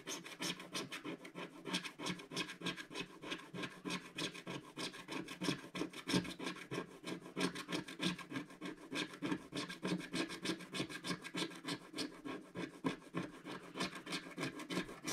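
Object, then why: Coated scratch-art card scraped with a wooden stick. A wooden stick scratches the black coating near the centre of the design on a flat, solid scratch-art card page. Quick, fairly regular rasping strokes, about three per second, repeat with a dry, bright scratchy texture and a soft low body. Each stroke stops short with no ring.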